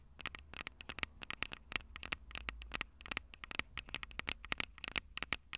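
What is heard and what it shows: Long purple nails tap rapidly on the metal microphone capsules of a Tascam DR-05 recorder in an uneven patter. Dozens of sharp, dry clicks with a bright, high edge die away almost instantly over a faint low rumble.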